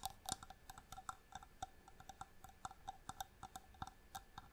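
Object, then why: Small inlaid wooden box. A small, hollow wooden box with striped marquetry inlay, held in both hands, is tapped with long nails in a quick, irregular run of about two dozen taps. Each tap is a short, dry, bright click that dies away almost instantly, with a faint hollow tone under the clicks.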